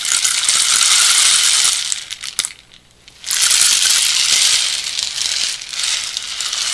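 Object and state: Bamboo rain stick.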